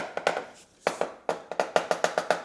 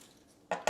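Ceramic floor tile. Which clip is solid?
The second.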